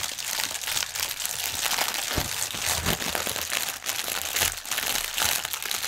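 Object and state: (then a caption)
Plastic air pillow packaging, hollow air-filled. Both hands scratch and tap fingernails over a strip of inflated clear polyethylene air-pillow packaging resting on a table, its hollow, air-filled cushions giving way under the nails. A dense, steady stream of bright, high crinkling and scratching is heard, with brief low thumps from the taps poking through. The sound stays fairly even throughout, with quick decays and no long ring.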